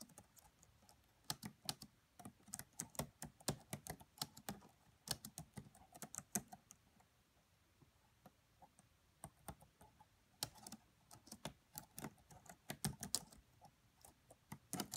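Both hands with long French-manicured nails type with their fingertips on the black plastic chiclet keys of a red laptop with a hollow body. The result is a quiet, irregular run of short, dry clicks and taps with bright tops and a light low thump. Bursts of keystrokes are separated by brief pauses.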